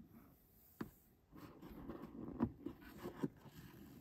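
Long acrylic nails tap and scratch along the grey moulded plastic roof grab handle set into the headliner of a Mercedes EQB, a hollow shell. Four sharp, hollow clicks stand out over a soft, continuous scraping rustle. The sound is quiet and low-pitched.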